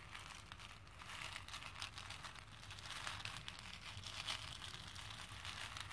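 Fingertips and nails push and stir small plastic faux pearl beads around a pink plastic bowl full of them. A quiet, steady stream of bright clicking and rattling, like soft crinkling, runs through the whole clip, with faint low rumble beneath.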